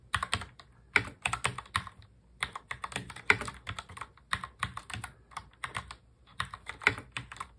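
Both hands touch-type on a full-size black mechanical keyboard with plastic keycaps, fingertips tapping the keys. Rapid bursts of sharp, bright clicks with little low end run in quick runs, broken by short pauses near the two- and six-second marks. Each click decays almost at once.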